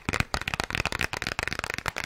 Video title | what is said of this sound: ASMR - Presidential Debate Ramble - Raspy Male Voice | It's got that, hollow sound to it.